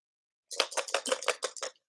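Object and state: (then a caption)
Small container full of dice. A small container holding a lot of dice is shaken, producing about eight quick bursts of loud, bright rattling clatter with almost no low end. The container is being used as a rattle while strolling.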